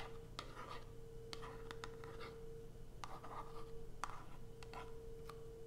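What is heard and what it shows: A small white Coast cardboard soap box, closed with a bar inside and resting on black fabric, is tapped and scratched with long almond-shaped acrylic nails. Quick, dry clicks with no ring are mixed with soft raspy scratching strokes over a steady low hum and a faint tone near 470 Hz.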